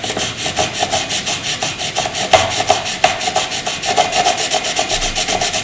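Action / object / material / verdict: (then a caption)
scrape / graphite pencil on paper / graphite / none. A graphite pencil fills in a dark shaded area on white paper with quick back-and-forth scratching and rubbing strokes. The steady, rhythmic strokes make a dry, bright papery hiss with a faint mid tone, and a few slightly harder scrapes stand out.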